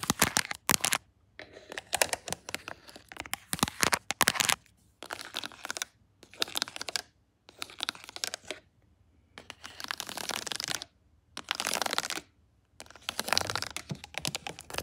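Long acrylic nails with paperclips hooked on them tap and scratch along the spines of a row of hollow plastic DVD and game cases standing on a wooden shelf. Bright, rapid clicking and scratchy rasping come in bursts of about a second, separated by short silences.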